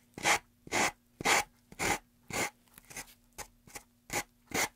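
Sandpaper is rubbed over the end of a solid, light-wood carved block held in a gloved hand. Ten short, bright, raspy sanding strokes come at a steady back-and-forth pace, with a few softer ones near the middle and quiet pauses between them.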